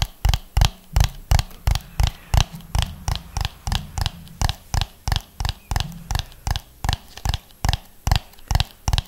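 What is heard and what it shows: A hollow orange and yellow ribbed plastic dome is turned in the hands and tapped with fingernails along its ridges. About 27 short, dry taps come at a slow, roughly steady rhythm, each with a low hollow thump and a bright click that dies away almost at once.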